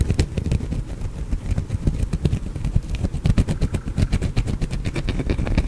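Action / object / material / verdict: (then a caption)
scrape / bar of soap / soap / none. A small, solid green soap bar is held in the fingers and scratched with fingernails close to the microphone. It produces a rapid, continuous run of dry, low, thudding scrapes, with faint bright clicks layered on top.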